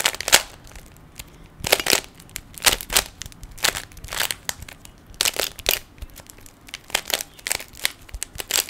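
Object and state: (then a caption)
Plastic puzzle cube being turned. Fingertips twist the layers of a small, hollow plastic 3x3 Rubik's cube, producing bursts of sharp, bright plastic clicks and crunchy rattles. The clicks come in quick clusters separated by brief quiet pauses, with almost no low end.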